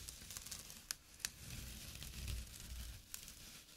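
A small, flat, empty jute burlap drawstring pouch lying on dark cloth is scratched with fingernails and fingertips. Soft, dry, rough scratching fills the clip, with a faint low rumble beneath it and a few sharp, bright clicks standing out. The scratching eases off toward the end as the hand moves away.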